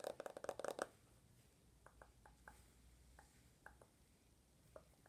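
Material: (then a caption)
Glass, plastic. An iPhone with a glass screen in a gold/rose plastic case, held in one hand, is tapped quickly on the screen and case by the fingertips and medium-length nails of the other hand. A dense burst of sharp, clicky taps with a bright edge fills the first second, followed by sparser, quieter taps spread across the rest of the clip. Each tap is short and dry, centred around 560 Hz.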